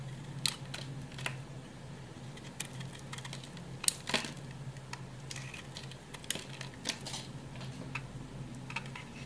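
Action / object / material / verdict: scrape / bar of hard soap scraped with a knife blade / soap / none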